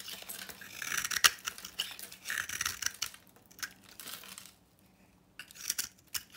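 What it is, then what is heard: Dry bar soap. A utility knife shaves dry flakes from a solid, rectangular, copper-painted bar of dry soap with a yellow-orange interior, held in the hand. Short, crisp, bright scraping and crackling strokes repeat in quick bursts, with a sharp louder scrape just after one second. A near-silent pause comes around the five-second mark before the shaving resumes.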